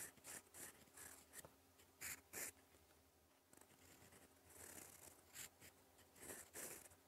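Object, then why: Metal pen nib on a paper sheet. A gold fountain pen nib writes in black ink on a flat sheet of lined cream paper, scratching across it in cursive strokes. Quiet, bright, irregular scratches come in short bursts, with a few louder strokes standing out.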